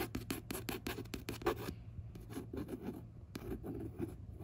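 A run of fast, short scratching strokes, then a pause, then a few slower ones. Each is a dry, breathy rasp with no ring, the sound of a fingertip dragging over smooth coated paper on a paperback cover. A faint low hum sits underneath throughout.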